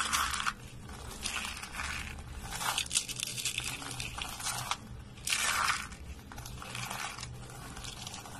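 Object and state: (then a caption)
Dry soap curls. Dry white soap curls and flakes are crumbled between fingertips and rubbed between the hands, making dense, bright crunching and crinkling bursts. The crackling swells and fades in uneven waves, with brief quieter gaps between handfuls.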